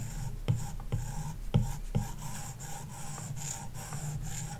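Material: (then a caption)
Glass. A plastic stylus tip draws long lines across a large iPad glass touchscreen covered with a matte screen protector film. The strokes make a soft, scratchy rasp over a steady bright hiss, with several low, dull taps where strokes begin.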